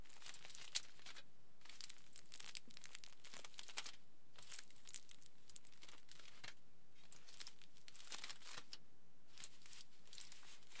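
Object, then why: Thin aluminium foil sheet. Fingertips scratch and crinkle the surface of a large, thin, crumpled aluminium foil sheet lying flat. Quiet bursts of bright, papery crackling come in irregular clusters separated by brief pauses.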